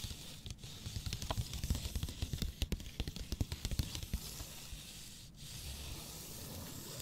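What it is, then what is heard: Kraft paper wrapped cardboard box. A long cardboard box wrapped in brown kraft paper is held in one hand while long nails and fingertips tap and scratch the wrapped surface. Dry, papery taps with a dull low thump come in a quick, uneven run through the middle of the clip. The sound then settles into a softer, steady scratching rustle.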